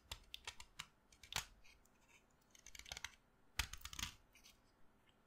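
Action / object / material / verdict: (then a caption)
scrape / stick of chalk cut with a knife blade / chalk / none. A solid pink chalk stick held in the hand is scraped and carved with a utility knife blade, with chalk dust falling onto the table. The sound is a quiet series of short, bright, crisp scrapes and clicks, each dying away almost instantly, spaced irregularly with a few louder cuts.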